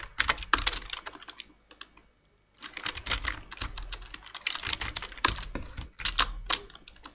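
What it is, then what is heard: Plastic computer keyboard. Continuous two-handed fingertip typing on a black plastic full-size computer keyboard with hollow keys produces rapid, bright clicking taps with very short decay. A brief pause around the two-second mark interrupts the typing before it resumes steadily, with a few sharper, louder keystrokes standing out.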